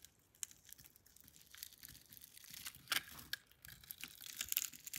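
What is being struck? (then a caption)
Bar of soap cut with a metal blade. A solid pink, palm-sized bar of soap, partly carved and held in the hand, is scraped and cut with a metal blade into small cubes and strips. The result is quiet, bright, crisp scraping and crackling, with many tiny, sharp snaps over a faint hiss and almost no low end.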